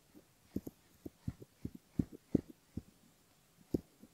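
Close up on a silicone ear model, the spoon tip of a bamboo ear pick scratches the front of the ear and the skin beside it. The result is a quiet, irregular series of short, dull, low scratching taps with almost no brightness or ring.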